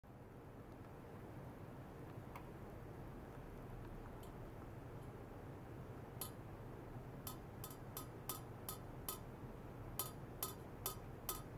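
A thin metal rod taps from below on a long, polished stainless steel pipe about 4 cm across, likely hollow, lying horizontally on white foam-net sleeves on a lab bench, with ultrasonic excitation possibly present. About twelve short, bright metallic clinks ring briefly over a steady low hum, sparse at first and then coming in quicker, uneven bursts.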